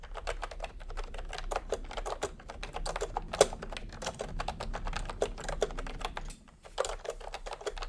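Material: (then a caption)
Plastic. Fingertips type steadily on a full-size plastic retro keyboard with a peach plastic case and round typewriter-style plastic keycaps. The keystrokes are a quick stream of short, dry, mid-toned clacks over a faint low hum, with a brief pause near the end before the typing resumes.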